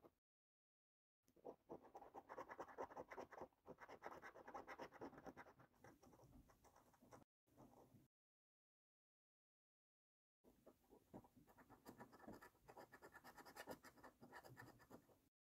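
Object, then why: Paper scratch card with latex scratch-off coating. A coin edge scrapes the latex scratch-off coating on a thin cardboard lottery scratch card held flat, scratching continuously across the grid. Rapid, gritty scraping strokes come in a long burst, a brief short pass, then a pause before another sustained run. The sound is centered in the mid-range with a bright, papery edge.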